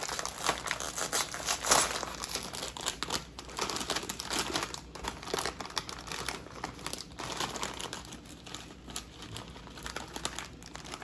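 A small yellow Lay's Baked chips bag made of foil-lined, metallized plastic film, partly full of chips, is held in both hands and pulled open, then crinkled and rustled by the fingers while other sealed bags sit untouched on a plate. Dense, bright crackling and crinkling runs throughout, with the loudest burst near the start as the bag is pulled open. It then settles into softer, steady rustling with little low end.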